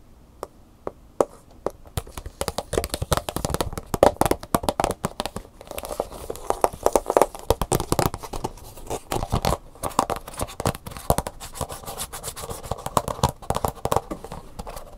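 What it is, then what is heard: Plastic blister pack. Fingernails tap quickly across the front and the hollow plastic bubble of a plastic blister pack with a cardboard insert, then scratch its back label. The result is a dense run of sharp, dry clicks and crinkly scratches, hollow-toned around 560 Hz, with the loudest taps coming in bursts.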